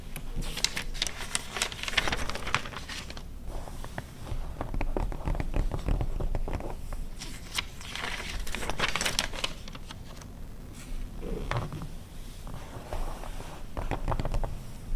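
Long red nails scratch and tap across the glossy paper pages of an open 2009 car magazine resting on a fur rug, with one page flip. The result is a dense, irregular run of crinkly scratches and soft taps with bright papery crackle over a low, muffled body.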